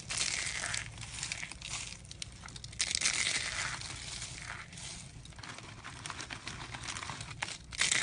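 Hollow, brittle tubes of rolled light-green dried soap curls are crushed with the knuckles and the palm. They give a steady run of dry, bright crunching and crackling, with louder bursts near the start, around the three-second mark and at the end. Each crack dies away almost at once.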